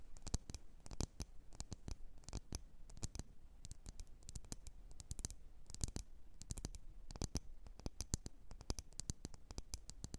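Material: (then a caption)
Glass. Long nails tap and scratch around a lit, wax-filled red glass candle jar. The result is a steady stream of quick, sharp clicks with bright edges that die away almost instantly, broken by brief clusters of rapid taps over a low background hum.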